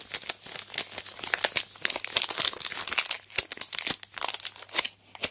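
A large sealed Aero Mint chocolate bar in its plastic wrapper is lifted, rotated and squeezed in hands with long black nails. The packaging gives off a dense stream of sharp, bright crinkles and crackles with almost no low end, each burst dying away almost instantly.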